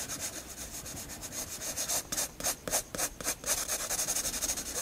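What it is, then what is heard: Pencil shading on a paper sketchbook page. A graphite pencil shades the flat white paper page of a spiral sketchbook with rubbing strokes. Soft, bright, scratchy hiss comes in quick back-and-forth strokes, about three or four per second. It is quiet and has almost no low end.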